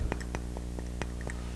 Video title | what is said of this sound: Nitrogeno Liquido | it does not sound it does not ring it's rubber and lead